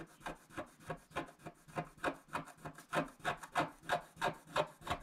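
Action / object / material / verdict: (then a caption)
scrape / coated scratch-art card scraped with a stylus / coated card / none. A stylus scratches across a flat, coated scratch-art sheet in quick back-and-forth strokes. About 18 short, dry, rasping scrapes come in a steady rhythm of roughly three per second, each with a midrange body and a bright hiss on top. They die away almost instantly, with no ring.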